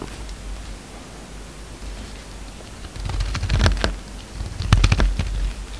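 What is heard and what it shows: A utility knife blade shaves and scrapes a solid orange bar of soap held in the hand, mostly peeled, as soap shavings pile up below. After about three seconds of quiet low rumble, two clusters of crisp, bright scraping clicks and rasps stand out, with short dry decays.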